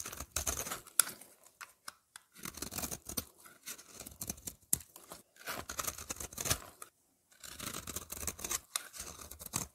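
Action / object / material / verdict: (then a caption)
scrape / bar of soap scraped with a knife blade / soap / none. A solid lavender soap bar is held in the hand and scraped with a utility knife blade, shaving it into curls. Bursts of bright, crisp scraping and crackling come in repeated strokes, separated by short silent pauses.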